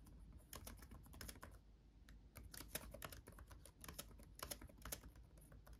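Both hands type fast with their fingertips on a backlit laptop keyboard with plastic chiclet keys. The result is a quick, uneven stream of short, bright, clicky taps with almost no ring. A steady low rumble runs underneath throughout.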